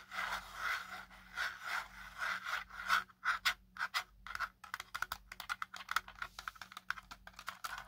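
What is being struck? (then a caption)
Hard plastic drone body. A small black folded quadcopter drone with a hard plastic body and arms is held in one hand while the other hand's fingertips and short nails scratch and tap its ribbed plastic top. The first half is a run of soft, rhythmic scratching swells centered in the midrange. The second half breaks into quick, dry, bright ticks and taps that die away almost instantly.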